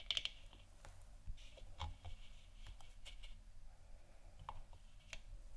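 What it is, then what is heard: Plastic moon lamp tapped and scratched with nails. Long dark nails scratch and tap the upper and lower surface of a hollow plastic moon lamp sphere. Quiet, bright, dry clicks and short scratchy swishes come and go, each dying away almost instantly, over a steady low rumble.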